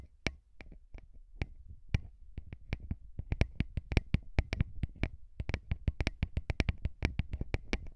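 Fingertips rub and tap the grilles of small, hollow metal microphone capsules mounted on a recorder. Close, dry clicks and taps come in an uneven series that grows quicker and denser after the first few seconds, each with a bright crackle over a low, muffled thump and almost no ring. Soft scratchy rubbing fills the gaps between taps.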